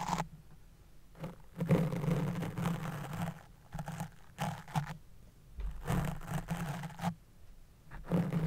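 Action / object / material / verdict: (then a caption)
scrape / open-cell foam microphone windscreen / foam / none. A small white-handled spoolie brush scratches and brushes against a fist-sized black open-cell foam windscreen on a silver USB microphone. The result is bursts of deep, muffled, rumbling scratching, heavy in the low end, separated by quieter pauses.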